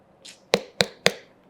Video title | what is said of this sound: తెల్ల పుచ్చకాయ vs నల్ల పుచ్చకాయ - Vikram Aditya - Watermelon Health Benefits In Telugu - BRK Health | Filling ఉన్నట్టు fill ఉంది పూర్తిగా ఫిల్ అయి ఉంది. ఇది కేవలం నీటి శాతం అధికంగా ఉంది.